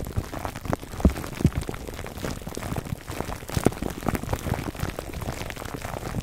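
Fingertips of both hands scratch clear cling film wrapped over a black foam microphone windscreen. The result is a dense, continuous crackle of soft, rain-like ticks, heavy in the low end, with a few sharper pops standing out.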